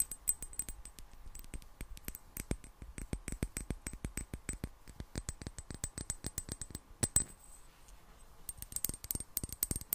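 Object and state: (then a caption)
Small glass bottle tapped with fingernails. Long black nails tap rapidly and lightly on a small, hollow, clear glass bottle with a gold metal cap, partly filled with water. Each tap is a quick, bright click with a faint high ring that dies away almost at once, and the taps run steadily throughout.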